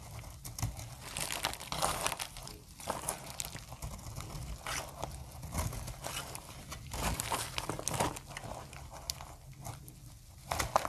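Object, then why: Bar of translucent soap. A metal utility blade repeatedly shaves curled dry flakes off a hand-held, solid, translucent amber soap bar. Each pass makes a dense, crackly crunching scrape with bright, crisp edges over a soft low rumble. The bursts stop dead, with no ringing.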